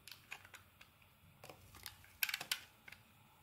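A palm-sized, solid purple-and-white marbled bar of soap is held in the hand and shaved with a thin metal blade. Bright, short scraping and carving strokes cross its surface in an irregular series of crisp ticks, ending in a louder burst of quick scrapes.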